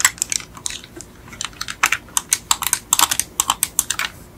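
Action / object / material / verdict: tap / die-cast metal toy car / metal / none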